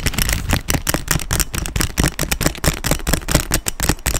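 Fingernails tap quickly and repeatedly on the quilted surface of a black quilted leather handbag close to the mic. Each tap is a short, dry knock with little ring, and the steady stream of taps is heavy in low thuds with a crisp upper click.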